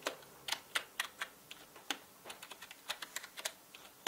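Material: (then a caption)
Plastic. Steady typing with the fingertips of both hands on a full-size black plastic mechanical gaming keyboard with plastic keycaps gives 19 distinct, bright clicky keystrokes at an uneven pace. Each keystroke is short and sharp, with no low rumble beneath it.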